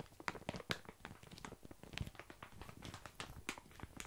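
A full, sealed plastic bag of tiny dry pasta is held in both hands while fingertips scratch and press the crinkly plastic. The result is a quiet, continuous run of dry crinkling and crunching, dotted with many short, sharp crackles that carry bright, high edges. Each crackle dies away almost instantly.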